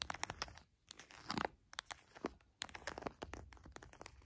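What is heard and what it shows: Fingertips and long nails press, tap and scratch an orange plastic squeeze pouch filled with raw honey, soft and full. Bright, crisp crinkles and sharp little ticks of the crinkly plastic come in uneven bursts with brief quiet gaps. Each sound is dry and dies away almost instantly.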